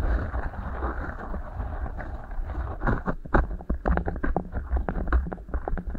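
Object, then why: Beeswax-coated cotton wrap. Fingertips rub and squeeze two matching beeswax-coated cotton wraps rolled into hollow tubes over the microphone capsules. A low, muffled rumbling rustle gives way after about three seconds to a run of sharp, crinkly crackles and pops over the deep thudding.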